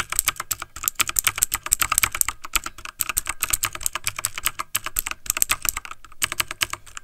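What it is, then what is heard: Plastic mechanical keyboard. Fingertips of both hands type fast on a backlit plastic mechanical computer keyboard. A dense, uneven stream of sharp, bright key clicks fills the clip, each tap dying away almost instantly, with brief pauses between bursts and little low-end weight.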